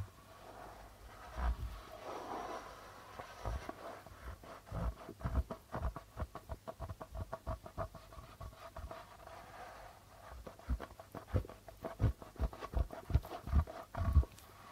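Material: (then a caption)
Plastic. Fingertips and nails tap and scratch the white plastic membrane of a hollow darbuka drum. Quiet, dull low thumps near 70 Hz die away almost instantly, separated by soft scratching. The taps come sparsely at first, then in quicker clusters that grow louder toward the end.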